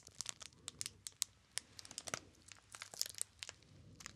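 A small, solid rectangular bar of soap in a clear, crinkly plastic wrapper with a printed paper label is held in both hands while fingertips squeeze and rub the wrapper. The result is a quiet, rapid series of sharp, bright crackles and crinkles with almost no low end, each snap dying away instantly.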